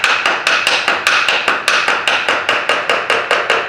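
An aluminium engine cover on a Suzuki Bandit 1250, still bolted to the engine, is tapped 18 times at a steady pace to loosen it. Each tap gives a bright, hollow knock centred around 1.5 kHz that rings briefly before the next one.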